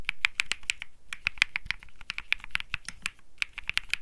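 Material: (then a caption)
Plastic. Fingertips type continuously on a cream Think 6.5 mechanical keyboard with Bsun Lollipop switches and plastic keycaps. About two dozen quick, separate key presses ring out as bright, crisp clicks centered near 2.4 kHz, each with a short low thock beneath it. Every press dies away almost instantly, giving a steady, uneven tapping rhythm.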